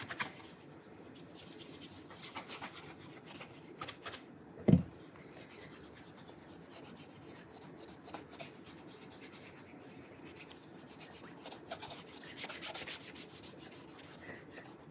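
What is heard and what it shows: A burgundy leather dress shoe, held by its shoe tree, is rubbed with an orange polishing cloth wrapped over the fingertips. Quiet, steady rubbing strokes with a soft, low, papery texture, interrupted by a single louder soft thump a little before the midpoint. The rubbing then continues evenly to the end.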